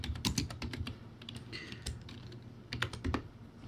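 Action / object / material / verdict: tap / plastic keyboard with round keycaps / plastic / none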